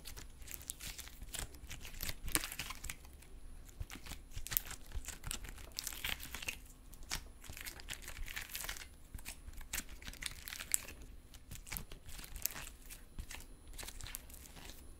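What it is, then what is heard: Metallic stress putty being squeezed and stretched. A small lump of soft, solid silver metallic stress putty is held in both hands and squeezed, pulled and stretched by the fingers. It makes continuous crinkling and tearing sounds with frequent sharp pops and clicks, some bright, over a low rumbling background.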